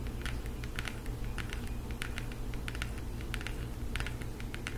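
Long acrylic nails rapidly tap a floral cardboard eyeshadow palette held in both hands. They make quick, bright, dry clicks over a steady low hum.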